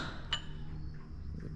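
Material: Steel.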